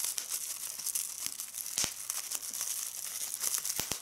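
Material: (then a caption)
Plastic. Clear plastic bubble wrap is held in both hands while red-nailed fingers squeeze it and pop the bubbles rapidly. A steady, bright crinkling rustle is broken by sharp, crisp snaps, with almost no low end and each pop dying away quickly.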